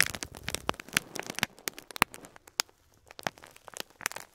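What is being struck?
Plastic bag of plastic beads.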